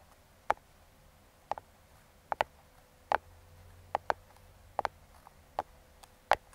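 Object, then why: Small closed cardboard box tapped with metal fingertip picks. Metal claw fingertip picks tap and scratch the top of a small, closed brown kraft cardboard box held in the hand, around its logo. Short, dry, crisp taps with bright edges come singly and in quick pairs at uneven intervals. Each dies away almost instantly over a quiet, faint background hiss.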